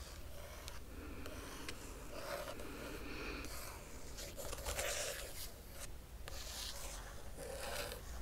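A long nail traces across the printed paper pages of an open hardcover book, making soft, continuous scratching and rubbing strokes with bright, papery hiss. The strokes rise and fall in short bursts over a steady low hum.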